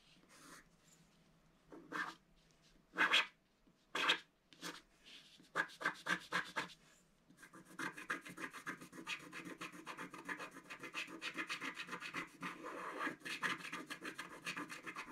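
A wooden stylus scratches a black-coated scratch-art card in a book, working near the centre and lower petals. A few separate short, bright scratch strokes come first, then a steady run of rapid, dry scraping strokes fills the second half. The sound is thin and high with almost no low end.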